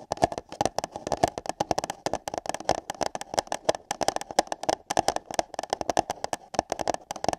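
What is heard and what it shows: Fingertips and long yellow nails tap and scratch the sides of empty light-blue paper cups placed over the ears of a binaural microphone. A fast, uneven stream of short, dry clicks with almost no ring sounds hollow and boxy, centred around 700 Hz, with light scratchy texture between the taps.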